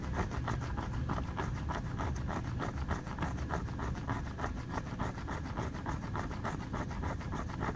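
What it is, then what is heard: Rubber running shoe sole. Fingertips scratch and rub quickly over the ridged yellow and blue rubber tread of a running shoe sole. The result is a steady run of dry, scratchy strokes over a constant low rumble, with soft, short rasps repeating at a fast, uneven pace.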